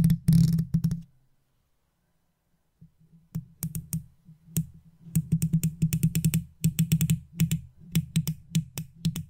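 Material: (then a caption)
Metal mesh. A wooden toothpick held in long-nailed fingers taps and scratches the hollow, rounded metal mesh grille of an uncovered silver condenser microphone. A short burst of rough scratching gives way to a pause, then irregular rapid taps follow, each a deep, boomy thud with a brief bright click on top.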